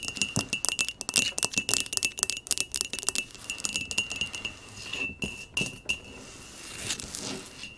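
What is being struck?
Small glazed ceramic pot.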